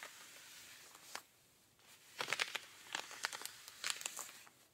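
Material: Denim.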